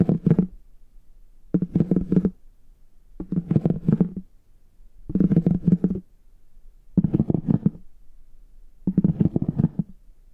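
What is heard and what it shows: A plastic stick with a rounded tip taps and scratches the embossed front of a brown, chocolate-bar-shaped faux leather hard shell case held upright. Six short bursts of quick, dull, low-pitched tapping and scratching are each followed by a brief pause.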